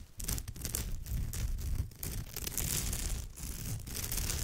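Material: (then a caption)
Straw. Long nails on both hands scratch the textured woven surface of a straw or raffia purse. The result is a steady, dense scratching rustle with a heavy low rumble and a bright, crackly hiss on top. Short dips in level mark the strokes.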